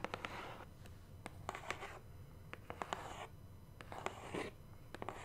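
Long nails tap and scratch the face and edge of a large, hollow black cardboard subscription box held close. Sharp, dry taps are interspersed with brief bursts of scratchy rasping against the cardboard.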